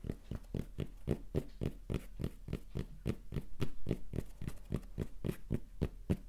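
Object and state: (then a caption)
Fabric baseball cap. A soft, hollow red cotton baseball cap with a Rapala logo is tapped and scratched on its fabric with fingertips and nails. Rapid, slightly uneven dull thuds, about three to four per second, each decay almost instantly. A faint bright scratchy rustle runs between them.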